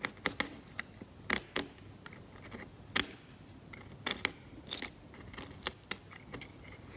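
A steel scalpel blade scrapes away the varnish layer from a cracked, varnished oil painting on canvas. Quiet, irregular scrapes and crisp ticks come in bursts, bright and dry with almost no low end and no ring between strokes.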